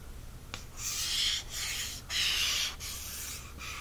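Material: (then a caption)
Cardstock. A fingertip taps once, lightly, on the glossy cardstock front cover of a large softcover paperback embroidery book, a solid stack of paper lying flat on a fleece blanket. It then traces across the cover in a series of strokes, each a soft, bright, papery hiss separated by short pauses.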